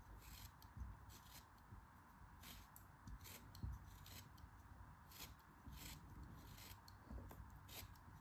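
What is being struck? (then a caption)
Kinetic sand block cut with a metal knife. A metal craft knife cuts slices off the top edge of a solid yellow kinetic sand block held in the hands. Soft, gritty scraping and crunching repeats in short bursts, each with a bright hiss, over a quiet low rumble with occasional dull thumps.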